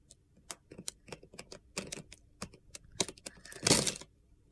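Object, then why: Bar of soap scraped with a knife blade. A utility knife blade cuts and scrapes brittle flakes from a solid light blue bar of soap, yellow at the edge, held in the hand. About 17 crisp, bright crunches and scratches sound in an uneven rhythm. They end in a longer, louder gritty scrape near the close.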